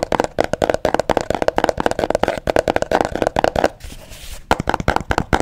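Fingernails and fingertips tap rapidly on a small, hollow, mint green cardboard box, producing a steady run of short, dry, hollow taps. Near the end the taps briefly give way to a soft scratching rasp across the surface, then resume.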